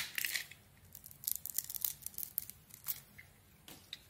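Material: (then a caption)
Soap. A metal blade carves and scrapes slices off a hand-sized, solid cream-colored bar of soap with a pink glitter outer layer, held in the hand. It makes quiet, crisp, bright scraping and crackling bursts with short gaps between strokes and almost no low end.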